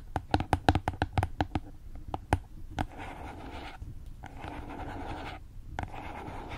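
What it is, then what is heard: Cardboard box. A small rectangular white cardboard box with a printed label is held horizontally and tapped and scratched with fingertips and nails. A quick series of sharp, dry taps with a hollow low thump comes first, followed by long stretches of soft, steady scratching that stop and start, then a final tap.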